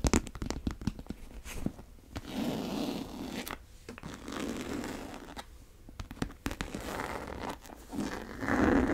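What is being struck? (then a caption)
Coated canvas tote bag. Long nails tap and scratch the top and side of a brown monogram coated-canvas tote bag with a single tan strap. Quick, dry taps come in a dense cluster at the start and recur through the clip, between longer stretches of soft, raspy scratching on the coated canvas.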